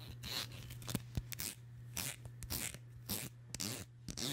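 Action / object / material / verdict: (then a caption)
scrape / wide-tooth plastic comb / plastic / none. Long nails flick and scrape the teeth of a black wide-tooth plastic comb held close to the mic. Quick, bright, rasping strokes and sharp little clicks come in an uneven rhythm over a steady low hum.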